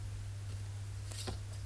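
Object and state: Nothing is struck.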